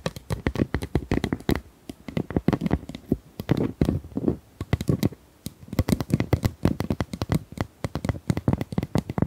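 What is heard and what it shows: Small plastic ice cubes are tapped and handled, producing dozens of quick, dry clicks in uneven bursts with brief pauses between them. Each tap is short and closely damped with almost no ring, and its sound sits mostly in the low range.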